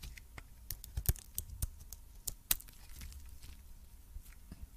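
A metal blade scrapes and cuts shavings off a red-coated cream solid soap bar, making a series of sharp, dry crackling scrapes and crisp snaps. The bright, brittle cuts stand out over a quiet, low background rumble.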